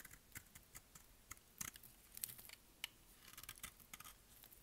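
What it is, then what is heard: Dry soap bar being cut. A solid, dry green bar of soap held in the hand has its edges shaved and cut with a utility blade. The result is a quiet series of short, dry, crisp scraping and cracking clicks with bright, high content and very little ring.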